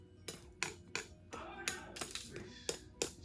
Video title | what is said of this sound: Irish Soda Bread - How To Make Traditional Irish Soda Bread - Ellen’s Homemade Delights | you can tell it's done when you hear a hollow sound